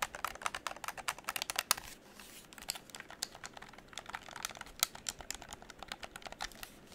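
A hollow pink plastic game controller is held close while fingertips rapidly click its buttons and tap the plastic. The result is a dense run of sharp, dry, bright clicks with a brief quieter pause partway through.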